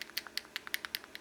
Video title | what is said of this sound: UNBOXING NEW Shield 9mm and M&P9 first LOOK and lube | you hear that it's got a ball in there